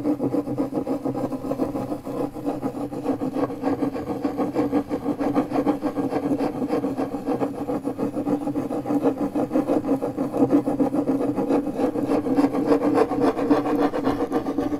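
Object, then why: MDF fiberboard panel rubbed with a metal key. A metal car key tip is pressed against a large, flat, solid pale MDF fiberboard panel and rubbed in circles. The result is a steady, scratchy rubbing with a low-mid hum and fast, uneven rasping pulses that keep going for the whole clip.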